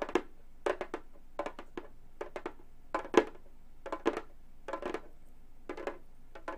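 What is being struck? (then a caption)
Frame drum with a synthetic head. Gold metal claw nails tap the synthetic head of a hollow frame drum in short clusters of two to four quick taps. Each tap gives a dry, woody knock around 350 Hz with a bright clicky edge. The sound dies away almost at once, with quiet gaps between clusters.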